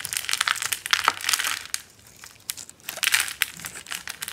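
A yellow, solid, hand-sized bar of dry soap, pre-scored in a cube grid and held in the palm, is crunched apart with a metal blade into small cubes. Dense, bright, dry crackling and crisp snapping come in bursts, with a quieter pause in the middle before another flurry of crunches.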